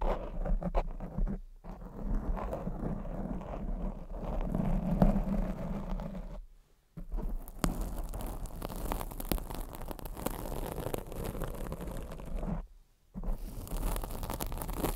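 Long acrylic nails of both hands scratch a black foam microphone windscreen, producing a dense, low, muffled rustling and scraping. The sound drops to near silence twice before the scratching resumes.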